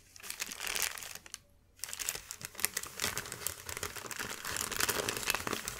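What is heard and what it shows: A flat, wrinkled sheet of thin white paper is scratched with the fingertips and gathered into crinkles. The result is dense, bright crackling and rustling, with a brief near-silent pause early on before the crinkling resumes and grows steadily fuller.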